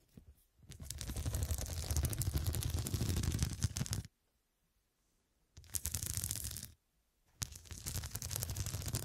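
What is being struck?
Fabric pillow with square glass studs.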